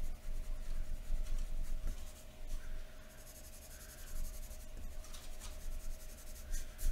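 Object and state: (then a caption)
Pencil shading on drawing paper. A wooden graphite pencil held in the fingers scratches across a thin white sheet of drawing paper lying flat on a wooden table in short shading strokes. The rapid, uneven strokes make soft, dry scratching and rubbing sounds that swell and fade, over a faint steady hum and low background rumble.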